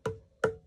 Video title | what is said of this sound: Trimming a Dry Bowl On the Pottery Wheel | that nice hollow sound. High-pitched sound that we have grown to know as potters